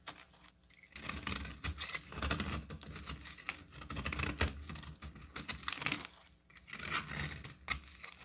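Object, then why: Bar of cream soap shaved with a knife blade. A solid cream bar soap held in the hand is shaved with a utility knife blade. Dense, bright scraping and crisp crackling come in bursts, with short quiet gaps near the start and around six seconds.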